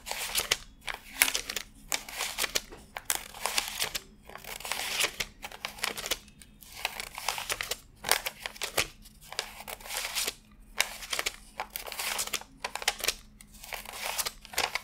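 Fingertips rub and flick through a fanned stack of thin cotton-paper $100 bills while counting them by hand. Bright, crisp papery rustles and snapping flicks come in quick bursts separated by short silent gaps, with almost no low-end weight.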